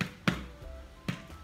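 A gluten-free oat loaf, turned out of its tin onto a baking tray, is tapped underneath to check whether it sounds hollow, as a friend advised. The taps give short, dull, low thuds with little ring. The loaf is not yet baked through and needs another 10 minutes in the oven.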